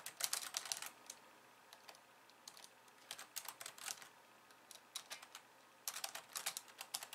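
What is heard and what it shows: Long polished nails and fingertips type rapidly with both hands on a compact pink and white plastic keyboard resting on a wooden desk. Bursts of quick, bright, clicky keystrokes come in flurries separated by short pauses, each tap crisp and dry with almost no low end.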